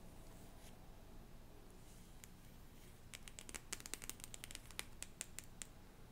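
Long painted nails scratch and tap the top card of a small hand-held deck of cardstock cards with a yellow print. A quiet, low-humming stretch with faint scratches gives way, about halfway through, to a quick run of crisp, bright clicking taps that stop short with almost no ring.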